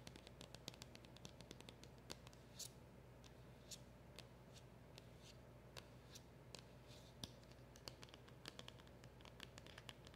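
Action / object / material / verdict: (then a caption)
tap / small cardboard packaging box / cardboard / none. Long acrylic nails scratch and tap across a small, hollow black cardboard packaging box with a round emblem sticker. Dozens of quick, dry clicks and brief bright scrapes land over a soft, steady low hum. Each tap stops almost at once, with no ring.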